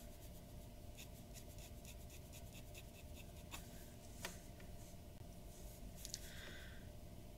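A glass dip pen nib scratches short strokes around the eye of a drawing on a white paper sheet resting on a wooden desk. Quiet, bright scratchy ticks repeat over a steady low hum, with a couple of sharper strokes around the middle. A brief brighter swish follows near the end.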